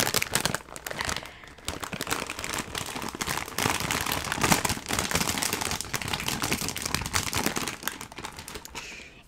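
A large, sealed, full blue De Todito snack bag of foil-lined metallized plastic film is held in both hands and crinkled and squeezed with the fingers and long nails. It makes dense, bright crackling and crinkling that carries on with rapid overlapping snaps for about nine seconds. The noise swells and dips in bursts and fades out at the end.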